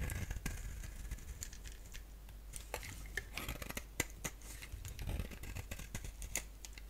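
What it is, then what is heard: Bar of soap being scraped and cut. A utility blade scrapes and cuts flakes from the surface of a solid, hand-sized lilac bar soap. The result is a quiet run of short, crisp scraping clicks and brief crackles with bright edges over a steady low hum.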